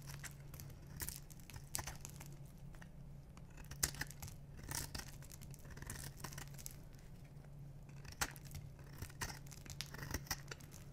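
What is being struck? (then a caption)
Soap bar shaved with a metal blade. A metal knife blade scrapes and shaves the surface of a solid black bar of dry soap with white stripes, held in one hand, curling off crunchy shavings. Dry, crackly scraping and crunching comes in quick strokes with sharp bright snaps over a steady low hum.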